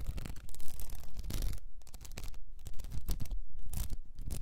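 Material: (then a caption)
Plastic. Long nails scratch a cylinder wrapped in blue plastic rhinestone mesh, tilted toward the camera. Dense, bright, crackly rasping comes in quick irregular bursts with brief quiet gaps, underlaid by soft low thumps.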